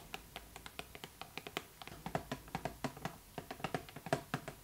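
Long nails tap rapidly on the sides and front of a hollow, pink printed cardboard Barbie box with the doll inside, making about 28 quick, dry clicks with a hollow midrange tone. Each tap dies away almost instantly, with uneven timing and loudness throughout.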